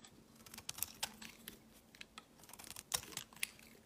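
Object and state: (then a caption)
Bar soap being shaved. A metal utility blade scrapes and shaves curls off a solid white oval bar of soap held in the hand over a woven mat. The result is a series of short, bright, crisp scratching sounds at irregular intervals, with little low end and almost no ring.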